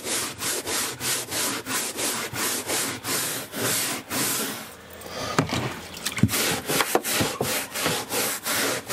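A hand-held bristle brush is scrubbed along a beige woven carpet runner on a motorhome floor near the cabinets. Quick, evenly spaced back-and-forth strokes make a bright, scratchy hiss for about four seconds, then briefly ease off. Scrubbing resumes more unevenly, with sharper ticks and scuffs mixed into the strokes.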